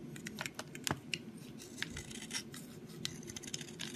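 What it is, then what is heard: Soap bar being shaved. A box cutter blade shaves a solid brown soap stick held in the fingers, curling it into flakes. A rapid series of short, dry, crisp scrapes with bright, hissy edges sounds over a faint low background, and each stroke stops almost instantly.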